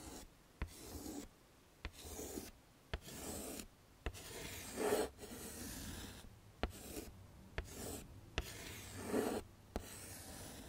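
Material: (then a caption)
Chalk. A pink chalk stick is scraped across a small, flat black chalkboard in a wooden frame to write letters. Bursts of dry, raspy scratching alternate with short silences, and about ten sharp taps mark where the chalk strikes the board between strokes.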